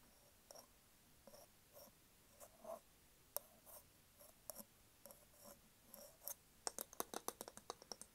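Long acrylic nails tap and scratch the round, flat, solid wooden lid of a candle jar with a printed label, held in one hand. Soft, bright scratching strokes come first, followed by a quick run of sharp, crisp clicking taps toward the end.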